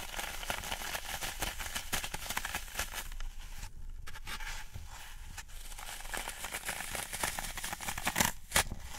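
Fingertips press and poke into the top of a large rectangular block of dry, solid, porous green floral foam resting on a wooden tray, leaving round dents. A steady stream of soft, dry crunching and crackling fills the clip, bright and gritty, with a few sharper crackles near the end.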